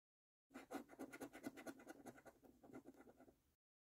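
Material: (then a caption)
Coated cardboard. A coin held in the fingertips scratches the latex coating off the YOUR NUMBERS row of a thin, flat, printed cardboard "Bank The Cash 15" £1 million National Lottery scratch card lying on a table. About fourteen quick, rasping strokes run together in a continuous scratching rhythm for about three seconds, then stop.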